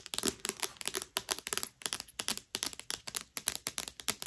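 Long nails scratch and rub the glossy cardstock cover of a thick, solid paperback novel, Owarimonogatari, lying flat. A quick run of dry, bright scraping strokes rises and fades one after another, with almost no low end and no ring after each stroke.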